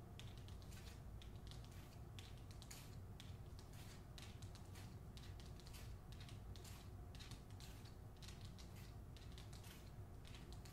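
A hardcover novel with a glossy paper dust jacket is held by its top edge while long nails scratch and tap the lower front cover. The result is quiet, continuous, rapid dry scratching and crisp tapping with bright papery bursts over a steady low rumble.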